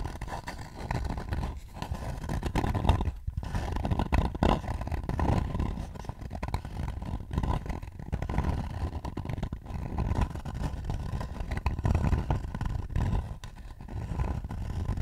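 Fingertips rapidly tap and scratch the rim and outer wall of a hollow, light-wood bowl held up beside the face. A dense, continuous stream of soft, dull knocks and rough scraping runs for the whole clip, heavy in low, hollow tones with very little brightness.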